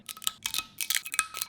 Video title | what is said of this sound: Viral TikTok Recipes ft Giant Fizzy Gummy Bears | you can hear how crispy they are